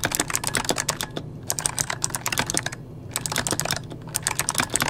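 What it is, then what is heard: Plastic mechanical keyboard. Fingertips of both hands type on an RGB-backlit mechanical keyboard with plastic keycaps, producing fast, bright, crisp clacks. The keystrokes come in dense bursts broken by brief pauses, with each click dying away almost instantly over a faint low hum.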